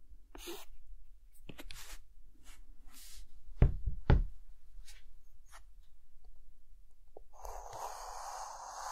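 A hand draws a guitar with a white chalk stick on a green chalkboard, making short, irregular scratching strokes with a bright, hissy edge over a low rumble. Two louder, sharper taps land near the middle, and the clip ends with a longer, continuous rasp of chalk.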